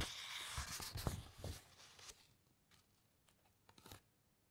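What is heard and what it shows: Long white nails and fingertips rub and scratch lightly along thick, uncoated encyclopaedia pages as the pages are turned. A dense, bright papery rustle with soft low thumps fills the first two seconds, then fades to quiet, sparse scratches, with a brief flurry of light scraping near the end.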